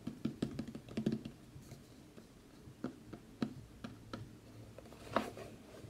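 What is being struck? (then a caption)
Cardboard box. A large, matte, dark cardboard collector's box with a worn printed Fallout logo is held in the hands while fingertips and short nails tap and scratch its lid and sides. A quick cluster of dull, hollow taps comes first, followed by sparser, sharper taps with faint scratching between them. Each tap dies away almost instantly with no ring.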